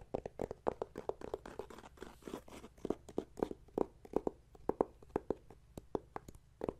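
A closed, flat, thin red plastic e-reader cover resting on a wooden table is tapped and scratched with fingertips and nails. About 32 quick, dry taps land in an uneven rhythm, each with a hollow mid-range tone near 430 Hz and almost no ring. Soft scratching fills the gaps between them.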